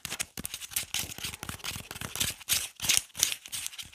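A whole, solid yellow onion is held in both hands while fingernails scratch and peel its dry, papery skin and stem. The result is a dense stream of bright, crisp crackling and rustling, made of quick, irregular bursts with almost no low end.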